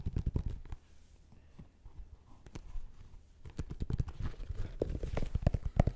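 A black and gold Nike Air Max 2090 running shoe, hollow and empty, with a metallic synthetic upper, rubber outsole and plastic air unit, is handled while fingertips and nails tap and scratch the upper and tread. The result is quick, dull, low thuds and soft scratching in irregular bursts, with a quieter stretch in the middle before the tapping picks up again.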